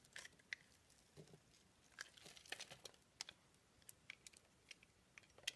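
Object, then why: Bar of soap cut with a blade. A solid round green bar soap with a pink rose inlay is held in the hand and carved and shaved with a blade. The cutting and scraping make soft, dry, bright crackles and sharp little clicks that come in quick, uneven bursts with no ring. The overall sound is quiet.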